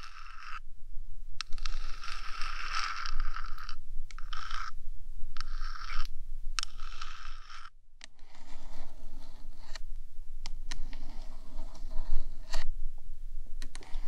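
Long acrylic nails scratch and tap with both hands on the top surface of a 3Dio binaural microphone's small, hollow, rectangular metal box body. Bursts of bright, gritty scraping alternate with brief pauses and sharp clicking taps over a low, steady rumble.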